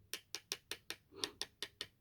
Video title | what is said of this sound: Hifiman Arya Stealth Not Plastic! | if I tap this with a metal object hear that there's a thud there's no sing to it